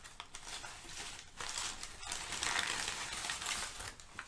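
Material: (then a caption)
Paper. Crumpled sheets of thin, flexible brown kraft packing paper on a rug are handled, crinkled and rubbed with the fingers of both hands. The result is a steady, bright crackling and crinkling, dense in the high frequencies, with a brief lull just before the midpoint.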